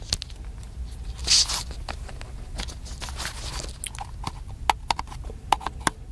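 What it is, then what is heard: Plastic camcorder. Fingertips tap on the body of a small black handheld plastic camcorder, which is hollow. Quick, dry, clicky taps with a hollow knock and bright edges sound over faint rustling, with a brief louder scrape early on. Sharper, more distinct taps come toward the end.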